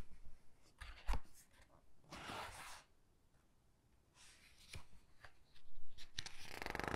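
A hand with long dark nails grips and flips the glossy paper pages of a large hardcover Titanic book. Soft papery swishes and rustles come in separate bursts, with a few sharp clicks and a low thump. Toward the end the sound swells into a longer crinkling rustle.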